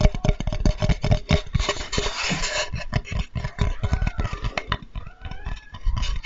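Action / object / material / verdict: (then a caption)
tap / flat wooden cutting board / wood / none. A flat, light, solid wooden Spätzle board, held sideways and upright, is tapped rapidly with the fingertips. This produces a dense run of dull, low, knocking thuds that die away almost instantly. A brief patch of brighter, rustling texture comes through near the middle.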